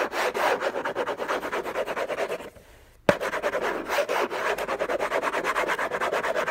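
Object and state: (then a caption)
Cardboard gift box scratched with fingernails. Fingertips and nails scratch fast across a hollow, rigid orange Hermès cardboard box, making dry, rapid rasping strokes with a papery midrange hiss. The scratching stops briefly for about half a second, a sharp tap sounds on the box, and the fast scratching starts again.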